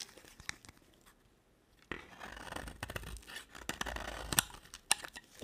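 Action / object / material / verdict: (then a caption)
scrape / bar of soap / soap / none. A utility knife blade cuts and shaves thin slices from a solid pale green bar of soap with a red edge. A few light ticks and a near-silent pause give way to a steady, bright scraping and crackling as the blade runs through the soap, with sharp snapping clicks near the end.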